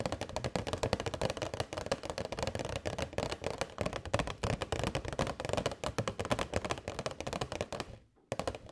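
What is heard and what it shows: Long nails tap rapidly on a hollow, transparent plastic box holding LED string lights, making a dense stream of short, dry plastic clicks with a low knocking body. The tapping stops for a brief near-silent pause around the eight-second mark, then resumes as the box is tilted at the end.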